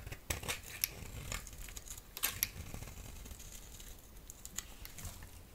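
A utility knife blade scrapes and shaves a solid yellow oval bar of soap held in the palm. Quiet, crisp scraping and crackly shaving strokes come in uneven bursts, with a few sharper bright clicks standing out. Each stroke stops almost at once, with no ring.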